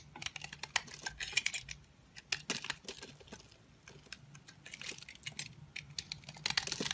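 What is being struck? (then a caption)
Bar of soap scraped with a knife. A green-handled utility knife scrapes crumbly shavings off a solid, dry rectangular peach-orange bar soap embossed "Essense & Co." The scraping comes as a rapid series of crisp, bright, dry clicks and crackles with almost no low end, each dying away instantly.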